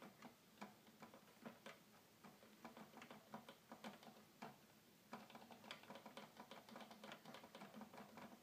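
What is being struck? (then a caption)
Plastic toy keyboard keys. Fingertips rapidly tap the keys of a hollow red plastic toy keyboard, producing about twenty-two quick, light clicks with a bright, sharp edge and almost no ring. The taps come in an uneven stream that thickens in the second half, over a faint steady low hum at a quiet overall level.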